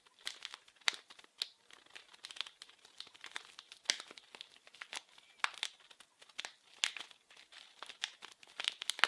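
A small blue printed plastic-film wrapped package, held in both hands, is crinkled and scratched with fingertips and nails. Dense, quiet crinkling and crackling comes through as a steady stream of sharp, bright snaps with no low end. The snaps are dry and stop instantly, with no ring between them.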